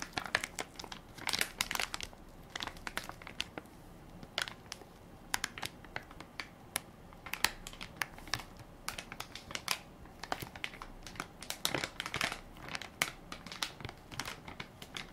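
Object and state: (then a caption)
Plastic baby wipes pack, crinkled and tapped. A full, soft plastic-film baby wipes pack with a plastic lid is held in one hand while fingertips and nails crinkle and tap its film top. Bright, crisp crinkling runs throughout, broken by sharp little taps and clicks that die away almost instantly, over a quiet, faint background.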